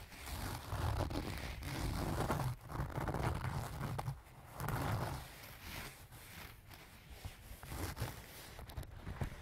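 Fingertips and nails scratch and rub the front and top edge near the zipper of a closed, filled pink leaf-print cloth zipper pouch. A dense, low, rumbling scratch and rustle swells in steady strokes for the first half, with a brief dip in the middle. It then fades to softer, thinner rubbing dotted with small bright ticks.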